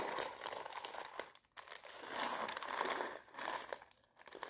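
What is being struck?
Plastic bag of dried popcorn kernels.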